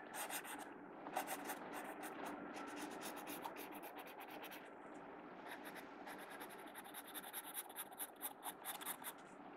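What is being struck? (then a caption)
Graphite pencil on a paper sketchbook page. A blue mechanical pencil shades and draws across the paper page of an open sketchbook lying flat on a wooden table, its graphite tip scratching the paper. Quick, bright, raspy strokes run in steady bursts at first, then turn into shorter, separate scratches toward the end.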